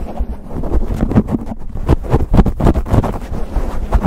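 Fingertips and nails of both hands rapidly scratch and rub a black foam windscreen on a silver condenser microphone. The result is a dense, low, muffled rumble of rough, crackling scrapes with almost no high content, as if wind were buffeting the mic.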